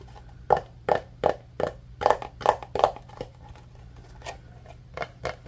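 Fingertips and nails tap and scratch a small, rectangular, translucent green plastic food storage container that appears hollow and empty, held in both hands. A series of short, hollow, uneven clicks with a midrange tone near 880 Hz, each dying away almost instantly over a low steady hum. The taps are loudest in the first half and grow fainter and sparser toward the end.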